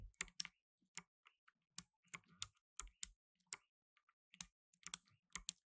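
Blue nitrile-gloved fingertips type on a black tenkeyless mechanical keyboard with plastic keycaps. About fifteen sharp, bright clicks come at an uneven pace. Each click is quiet and dies away almost instantly, with a faint low thump under some of them.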